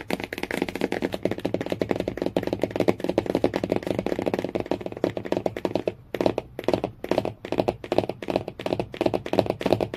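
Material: Cardboard.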